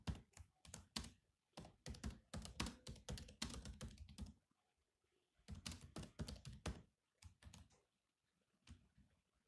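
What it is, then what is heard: Laptop keyboard with plastic keys. Fingertips tap the black plastic keys of a grey laptop keyboard in bursts of rapid typing, separated by short pauses. The keystrokes are quick, thumpy clicks with a low-weighted body and a bright tick on top, each dying away almost at once.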